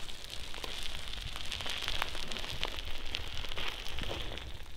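Long acrylic nails hold and scratch two hollow, soft white silicone ear-shaped pieces on the sides of a binaural microphone. The result is a steady, dense crackling and rustling with bright clicky scrapes over a low, muffled rumble.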